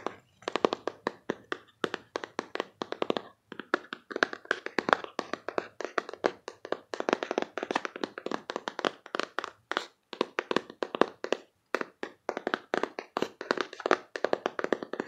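Long painted fingernails tap rapidly on the front and sides of a closed, hollow printed cardboard card box about the size of a paperback, held in the hands. The many dry, short clicks come in quick bursts with brief pauses and almost no ring or low end.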